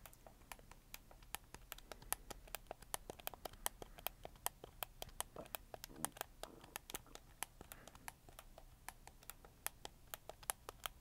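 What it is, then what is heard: Plastic game controller buttons. A black, hollow, hard-plastic PlayStation 4 controller is held in both hands while fingertips rapidly click its face buttons and thumbsticks. The result is a quiet, steady stream of sharp, dry clicks with a bright top and almost no ring. Soft scratchy handling noise and a low background hum sit between them.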